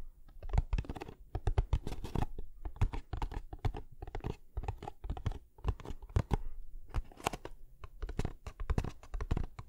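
Fingertips and nails tap and scratch the sides of a small, closed, hollow kraft cardboard box held upright beside the microphone. Rapid, dry taps land as dull, low thumps with no ring, mixed with crinkly scratching and brief crunchy bursts that come in a steady, uneven patter throughout.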